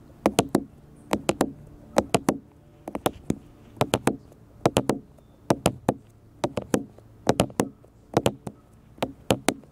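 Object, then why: Smartphone with glass front. Fingertips and nails tap a black smartphone with a glass front and a plastic or metal body, held on a table. The taps come in quick bursts of two to four sharp, dry clicks with a low body around 270 Hz, bright tips and almost no ring. There are about 34 taps in all, with short pauses between bursts.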